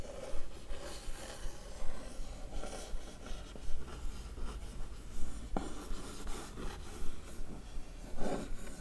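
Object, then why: Printed cardboard box. A single long nail slowly traces and scratches the wavy printed pattern on the lid of a closed, hollow blue-and-white printed Blissim cardboard box. The result is soft, irregular scratching and rubbing strokes over a steady low hum.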